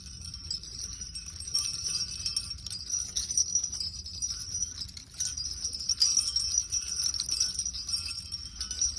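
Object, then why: Small metal jingle bells on a hanger. A metal jingle bell garland of small silver and pink metal bells on a pink chenille heart hanger is held in the hand and shaken. It gives a steady, bright, high tinkling jingle that rises and falls in loudness throughout, over a faint low background rumble.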